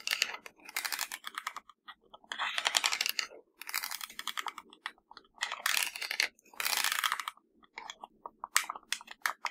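Long blue acrylic nails tap and scratch across the rubber buttons and casing of a small black plastic LG-style universal TV remote, hollow with batteries inside, lying on a grey fabric surface. Bursts of rapid, dry, bright clicking and scraping come in clusters separated by brief pauses, with no low end. Each tap dies away almost instantly.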